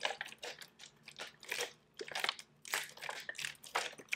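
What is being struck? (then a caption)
Thin plastic water bottle. A thin, hollow, clear plastic drinking water bottle with a blue label, held in one hand, is crinkled, squeezed and shaken by fingertips with long pink nails. A rapid series of bright, crackling crunches and crinkles comes in uneven bursts with brief quieter gaps between them.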